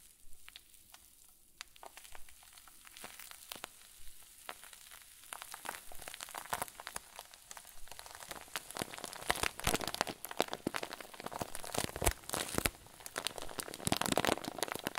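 A clear zip-lock plastic bag full of white fluffy filling is squeezed with thumbs and fingers. It gives off dense, bright crinkling and crackling that starts soft and sparse, then grows louder and busier through the second half.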